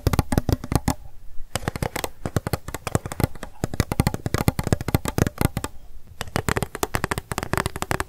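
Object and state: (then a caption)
Empty plastic cup. An empty pink plastic cup is held sideways in the hands and tapped and scratched quickly with long acrylic nails. Rapid bursts of sharp, dry clicks with very short decay run throughout, broken by brief pauses filled with softer scratching.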